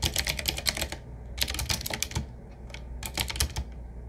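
Fingertips of both hands type on a medium-size, typewriter-style retro mechanical keyboard with round black keycaps set in metal rings on a wood-finish frame with a hollow case. Bursts of quick, bright clacking keystrokes arrive in three runs separated by short pauses, each click dying away almost instantly over a low background hum.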